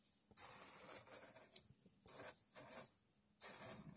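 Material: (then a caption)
Sand. A thin red stick pokes and digs into a tray of loose, coarse sand, making bright, hissy scratching and rasping in several bursts separated by brief quiet pauses. Coins sit still at the edge of the tray and are not touched.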